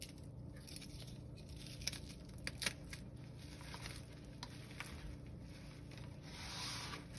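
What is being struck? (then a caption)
Gym chalk chunks crushed by hand. Bare hands break pieces of a broken blue gym chalk slab, then crush and rub the chunks into a pile of powder. Crisp, sharp snaps and crunches come in quick, scattered bursts, the loudest around the two-second mark, over a steady low rumble. Near the end, a brighter, softer grinding rasp swells as the chalk is rubbed down.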